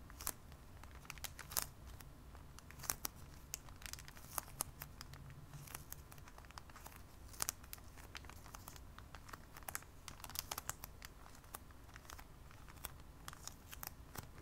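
Fingertips with short nails tap and scratch across a flat, thin rectangular sheet of snake nail decals in a clear plastic wrapper, held flat on a wooden table. Sharp, bright crinkling ticks and scrapes come in quick irregular bursts over a low, steady rumble, with no ring after each touch.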